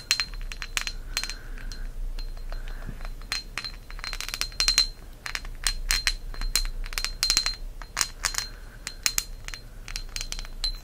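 A thick, solid green pressed-glass candle holder with a cup on top is held in the hand and tapped with fingertips and nails. A rapid, irregular run of short, bright glassy clicks and clinks sounds over a steady high ringing tone, with a faint low hum beneath.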